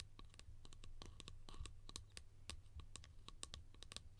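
A small hollow yellow plastic lid held in the hands is tapped and scratched rapidly with long painted nails. The result is a quick, uneven stream of sharp, bright clicks and scratchy strokes with very short decay, over a steady low hum.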